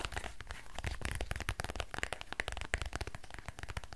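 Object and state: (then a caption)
Faux leather quilted purse. A small, dark, hollow quilted faux-leather purse with a squishy textured surface is held in both hands and tapped and scratched with fingertips and nails. The result is a dense, rapid stream of soft, dull taps with crinkly, scratchy bright edges. Each tap has almost no ring.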